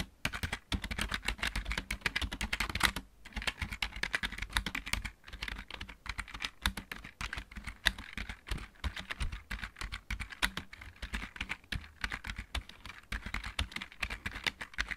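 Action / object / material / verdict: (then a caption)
tap / plastic mechanical keyboard / plastic / none. Both hands type with their fingertips on a full-size backlit plastic mechanical keyboard. The result is a fast, steady stream of sharp, bright key clicks with low thuds beneath, pausing briefly around three seconds and again near five seconds.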